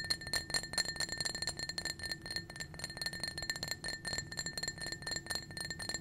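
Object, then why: Small glass drinking cup. A small, clear, blue-tinted glass cup, hollow and apparently empty, is held in the hand and tapped rapidly with painted fingernails. The quick, steady taps make bright, chiming clinks that ring at a steady pitch of about 1.8 kHz with high overtones, each decaying almost at once.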